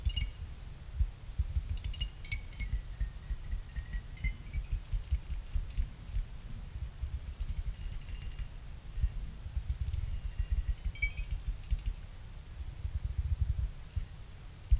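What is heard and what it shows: Fingers with a pick pluck the individual fins of a small finned aluminum CPU cooler heatsink so they ring. Short, bright metallic pings and chime-like tones ring out, some high and some lower around 2 kHz, over a steady low, rumbling thump that carries most of the energy.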